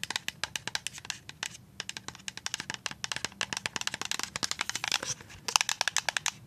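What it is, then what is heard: Full plastic liquid soap pump bottle. A full white plastic liquid soap pump bottle is scratched and tapped with paper-clip nails. The result is dozens of rapid, sharp, bright clicks with almost no low end and no ring, mixed with dry scratchy stretches between the taps.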